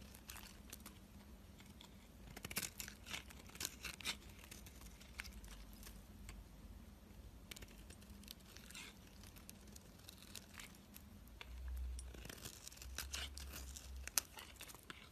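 A solid white, palm-sized rectangular bar of soap is held in the fingers while a utility-knife blade scrapes and slices curls off its surface. The result is a quiet, dry, crisp series of scraping and crunching strokes, bright in tone, over a low steady hum.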